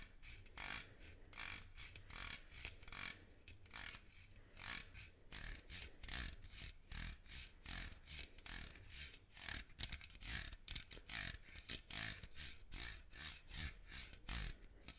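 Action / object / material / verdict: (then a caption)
scrape / metal mesh microphone grille / metal mesh / none. Fingertips and nails scratch and rub the metal mesh grille of a small black microphone held upright. The result is a rapid, uneven series of bright, raspy scratching bursts with a low, thumping rumble underneath, each burst cutting off almost instantly with no ring.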